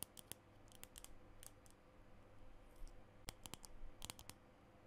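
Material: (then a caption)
Plastic. A small plastic lipstick tube with a green base and its bullet exposed is held in both hands while fingernails tap and click along it. Quick, bright, dry clicks come in scattered bursts over a quiet, steady low background hum, each dying away almost instantly.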